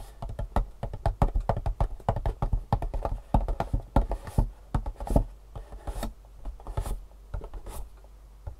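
Fingertips and long nails rapidly tap and scratch the top face of a long, hollow, printed cardboard Superfeet shoe insole box lying on a table. The quick taps give dull, low, hollow thumps that die away almost at once. A few brighter scratching swishes are mixed in.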